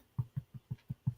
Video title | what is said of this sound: GEEK MEETS EATS: IRISH COOKING PARTY | you can hear that hollow sound